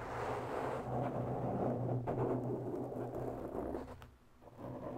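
Long natural nails on both hands scratch slowly around the edges and face of a black, round foam microphone windscreen. The result is a dense, low, rumbling scratchy rustle that stays steady. It dips briefly near the end before returning.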